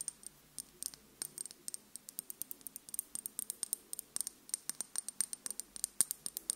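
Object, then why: Small glass dropper bottle. A small dark glass serum bottle with a black rubber dropper cap, apparently filled and held in one hand, is tapped and scratched with long pink nails. About 40 quick, bright clicks and ticks ring high and die almost instantly, with faint scratching between them over a quiet background.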